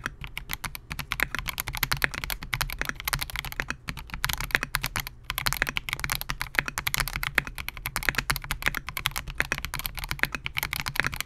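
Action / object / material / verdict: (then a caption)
tap / mechanical keyboard with plastic case and keycaps / plastic / none. A compact 68-key Melgeek MOJO68 mechanical keyboard with Gateron G Pro Silver switches, a clear polycarbonate case and SA-profile plastic keycaps rests on a desk mat while the fingertips of both hands type continuously. The result is a rapid, steady stream of short, bright, clacky key presses with almost no ring, over a faint low rumble, with only a few brief pauses.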